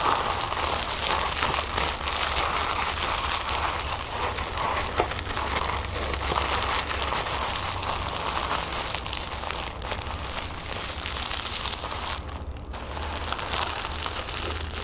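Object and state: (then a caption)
Tissue paper being crinkled. Long nails scratch and crinkle folded orange tissue paper resting on a wooden table. The result is a dense, continuous crackling rustle with bright, papery highs and a faint steady low rumble underneath. The sound stays fairly even throughout, with a brief quieter dip near the end.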